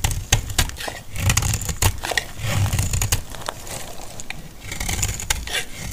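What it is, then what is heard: Dry soap bar being cut. A solid, dry yellow soap bar held in the palm is sliced into flakes with a metal blade. Repeated sharp, scraping cuts snap through with a crisp, bright crackle over a dull low rumble. Each stroke sheds dry flakes.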